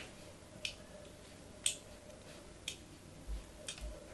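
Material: Soap.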